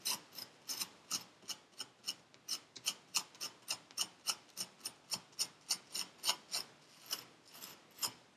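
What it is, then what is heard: Kinetic sand scraped with a metal tool. A metal needle tool scrapes lines through purple kinetic sand packed into a paper cup, producing about 27 short, bright, gritty scratches at an uneven pace. Each stroke is a quick, dry rasp that dies away almost at once, with no low-end body.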